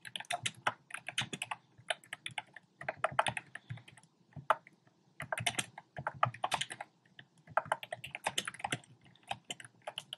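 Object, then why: Plastic keyboard with round keycaps. Fingertips type rapid key taps on a compact black plastic typewriter-style keyboard with round plastic keycaps. The result is a steady stream of sharp, bright plastic clicks in quick bursts with brief pauses between them. Each click dies away almost instantly.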